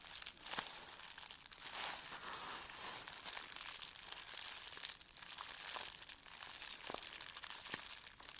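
A flat sheet of plastic bubble wrap lying on a black table is rubbed and pressed with the flat fingertips and palms of both hands. The result is a continuous, bright, crinkling rustle with sharp snapping crackles scattered throughout. There is almost no low end.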